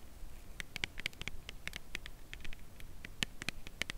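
Long nails tap the side edge of a full cardboard chocolate bar box held horizontally. Quick, dry, bright clicks land in an uneven patter with no ring, over a faint low rumble.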